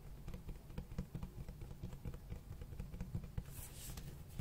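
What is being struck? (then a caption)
Cloth-covered hardcover book. Fingertips tap and scratch the cloth-textured cover of a large black hardcover book. The sound is a quiet, uneven run of soft, dull taps with very little ring, heavy in low-end thump, with a brief brighter scratching hiss near the end.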